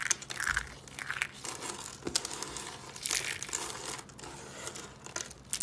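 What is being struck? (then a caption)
Soap curls crushed in the hand. Small colored dry soap curls are squeezed and crushed in the hand, giving a steady, bright, dry crackling and crunching with brief louder snaps and almost no low end. The curls break down into brittle pieces.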